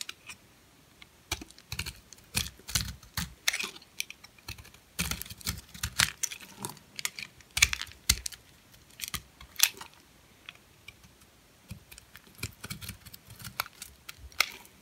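A metal blade scrapes and shaves flakes off a white, hand-sized, solid, dry bar of soap with a bubble pattern, held in the palm. The sound is a run of short, crisp, bright scratching clicks in irregular bursts, with very little low end and almost no ring, as flakes come off the hard bar.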